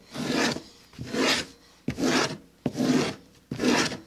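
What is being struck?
Vegetable-tanned leather sheet.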